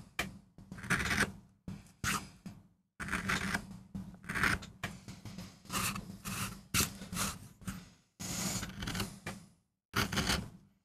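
A steel carving gouge in a wooden handle scrapes and cuts grooves into a small, flat, solid MDF relief printing block with a rose design, while fingertips hold the block steady. Short, rasping cutting strokes come in quick bursts with brief silent gaps between them. Each stroke has a bright, scratchy edge over a low steady hum, and the sound stops dead between cuts.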